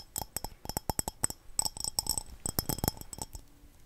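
Long dark-painted nails tap quickly on a small, hollow, empty-looking glazed yellow ceramic cup with ridges and black dots, held in the hand. The taps are a rapid run of short, dry clinks with bright, high ringing tones that die away almost at once over a soft low thump.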